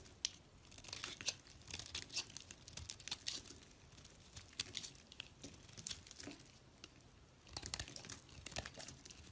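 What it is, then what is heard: Soap bar being scraped. A box-cutter blade scrapes a solid white rectangular soap bar held in a hand with long red nails, sending up white shavings. The sound is a quiet, continuous stream of crisp, bright scraping and crackling, with dense short bursts that swell and fade with each stroke.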